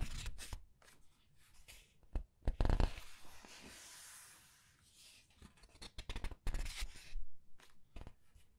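Long red nails press, squeeze and turn the thick glossy paper pages of a large art book. Soft crinkling and rubbing alternate with sharp, bright page flicks and thumps, including a longer smooth hissing sweep of paper in the middle.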